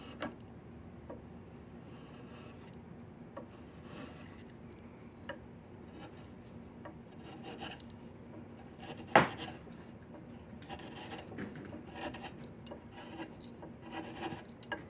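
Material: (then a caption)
Wood. A chisel scrapes along a solid diamond willow walking stick, making quiet, dry rasping strokes over a steady low background. Short clicks and brighter scraping bursts come through, with one sharp, louder snap near the middle.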